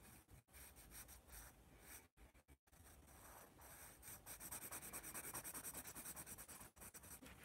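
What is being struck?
Graphite pencil on a paper sketchbook page.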